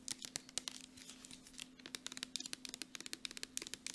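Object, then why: Soft plastic squeeze tube. Long nails tap quickly on the flat end and body of a partly full gold Jergens lotion tube made of soft plastic. About 25 sharp, dry clicks with bright, high crackle ring off almost instantly. A faint steady low hum runs underneath.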